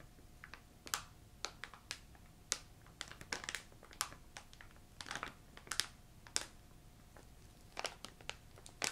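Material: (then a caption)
Plastic. A filled yellow plastic ginger candy bag is tapped, scratched and crinkled with long painted nails. Many sharp, bright crackles and ticks come in irregular bursts over a quiet background, each dying away almost instantly, with a faint steady tone running underneath.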